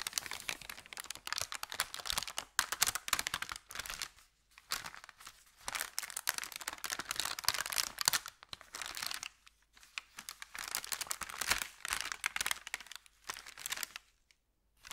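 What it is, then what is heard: Thin paper bag being crinkled. Fingers crinkle and bend an empty, thin kraft paper bakery bag with red script print, held up close. Dense, bright, crackly rustling comes in bursts of a second or two, separated by brief quiet gaps, with almost no low end.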